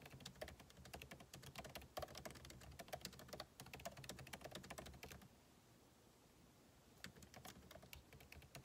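Fingertips type rapidly on the plastic keycaps of a backlit MacBook Pro keyboard set in an aluminum body, producing a dense stream of light, bright clicks. The typing stops at about five seconds, leaving a quiet pause, then resumes with scattered keystrokes near the end.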